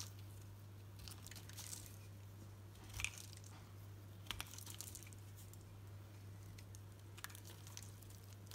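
A solid green soap bar held in the hand is shaved with a knife blade into thin curls, with soft, scattered crunchy scraping and bright crackles over a steady low hum. A few sharper crisp peaks stand out near the middle and toward the end of the clip.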